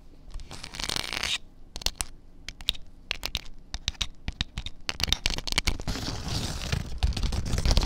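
Long dark nails scratch across a flat fabric tablecloth printed with a farmers market scene, spread on a surface. A bright, hissy rasp opens the clip, followed by a run of short, crisp scrapes and ticks, then denser, louder scratching with a low rumble underneath.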